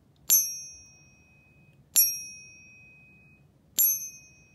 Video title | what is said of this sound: Silver Bar - Ping Test - Better Sound! | has that nice silver sound to it